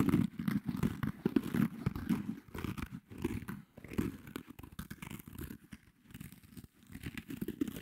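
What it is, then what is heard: Foam kitchen sponge with scouring pad. Fingertips and short nails scratch and rub a small pink foam kitchen sponge with a dark green abrasive scouring layer, held close to the microphone. Dense, irregular, dull scratching and rustling strokes with a low, muffled body, over quick bursts that rise and fade.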